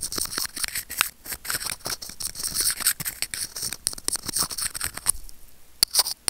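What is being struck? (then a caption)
Small plastic earphone mic remote scraped with steel tweezers. Curved steel tweezers rub and scratch a small hollow white plastic earphone mic remote, giving dense, bright, scratchy rasps broken by quick sharp clicks. Near the end the scraping thins into a quieter stretch before a few crisp taps and scrapes return.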